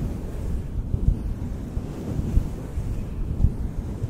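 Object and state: Synthetic fur microphone windscreen being brushed.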